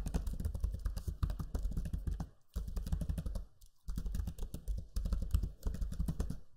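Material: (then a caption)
Plastic. Fingertips type on the low-profile plastic keys of a backlit black Lenovo Legion 5 laptop keyboard, giving rapid, dense streams of soft clicking taps with a deep, thumpy low end. Two short pauses break up the flurries of keystrokes.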